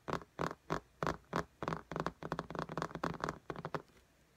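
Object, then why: Tablet with glass screen in a case. Long nails tap and scratch on the glass screen of an iPad lying flat in a pink case. A run of short, dry clicks comes at an uneven pace, spaced apart at first and then closer together. Each has a low knock under a brighter tick and stops almost at once.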